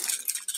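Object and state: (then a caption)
Fishing lure with loose rattle balls inside. A plastic fishing wobbler lure from an AliExpress order is shaken, and the loose rattle balls inside its body give about three quick, bright clicking rattles with almost no ring and no low end. The lure rattles as it should, confirming the balls are loose inside.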